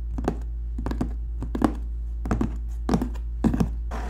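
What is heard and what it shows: Fingertips and short nails, one finger wearing a ring, tap and scratch the flat side of a large, hollow corrugated cardboard shipping box printed with a NEOLOGIC logo. Clusters of soft, dull, hollow thuds die away quickly over a steady low hum, ending in a brief scratchy brush.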